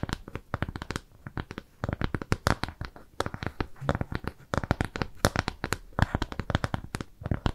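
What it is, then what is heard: Kraft cardboard disc. Long nails scratch and tap a flat, round brown kraft cardboard shape trimmed with jute. The result is a rapid, irregular run of short, dry taps and clicks with a dull, low-weighted body and faint scratchy rustle between them, each hit dying away almost instantly.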